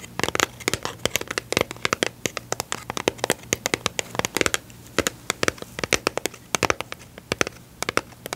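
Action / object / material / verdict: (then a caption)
tap / small cardboard box of staples / cardboard / none. Long pink nails and fingertips tap and scratch a small, hollow, rectangular yellow-and-blue printed cardboard box of standard staples. The result is a rapid run of sharp, dry clicks and scratchy crackles, each dying away instantly, bright with little low end, over a faint low hum.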